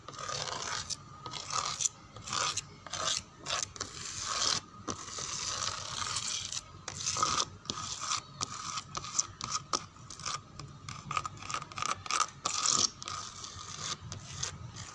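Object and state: Wooden door scratched.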